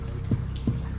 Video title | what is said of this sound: Jaw-Dropping Treasures Revealed - The Curse of Oak Island - History | That's one of the beams. This beam is hollow wood. [thudding]